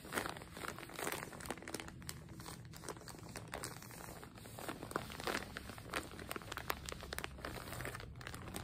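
Fingertips and long nails press, rub and crinkle a full, frosted printed plastic zip bag with a dark soft item inside as it rests on a table. Soft, continuous crinkling and rustling runs throughout, broken by frequent sharp, bright crackles and brief crunchy snaps, all at a quiet level.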